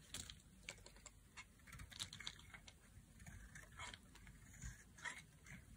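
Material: Soap.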